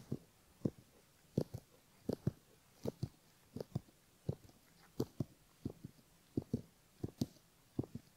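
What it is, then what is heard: Silicone ear model scraped with a bamboo pick. A bamboo ear pick scrapes the skin in front of a silicone left ear model and near the canal opening. About 18 short, soft scraping strokes come at an uneven pace, often in quick pairs, each a dull low brush with a faint bright edge that stops at once against a quiet background.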